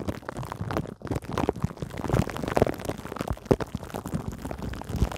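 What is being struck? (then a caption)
Metal mesh microphone grille under plastic film. Long acrylic nails scratch and rub clear cling film stretched over a metal mesh microphone grille. The result is a dense, continuous crackling and rustling texture with soft, muffled thumps, weighted toward the low end with very little brightness.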